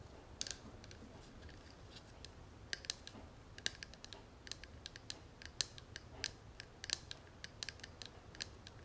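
Fingernails tap and scratch the dotted metal lid and edges of an open, hollow gold metal cigarette case held in both hands. Quiet, bright, sharp clicks and ticks come in an irregular stream over a soft, steady scratchy hiss, each tap dying away almost instantly.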